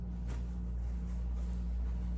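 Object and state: Nothing is struck.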